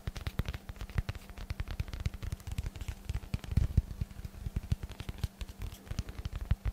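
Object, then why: Dense foam block. A hand-sized, solid rectangular block of dense black foam is held close to the microphone and tapped and scratched with the fingertips. The result is a rapid run of soft, dull, low thumps with very short decay. Faint bright scratchy ticks sit over a steady low hum.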